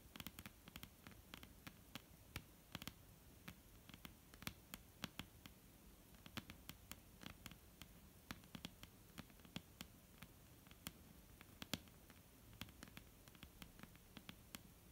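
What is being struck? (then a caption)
Wooden tabletop tapped with fingernails. Long almond-shaped painted nails tap quickly on a flat, solid dark-brown wooden tabletop. Dozens of short, sharp, bright clicks come in an uneven patter. Each tap dies away almost instantly over a quiet, low background hum.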